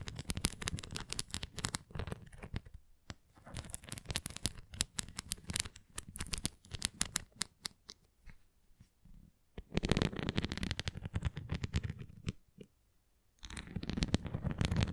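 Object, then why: Plastic flying disc. Long nails scratch across the bumps of a red plastic flying disc toy held face-on, then tap along its rim. The result is dense bursts of quick, dry clicks and scratchy rasps, bright at the top with a low thump underneath, broken by short quiet pauses.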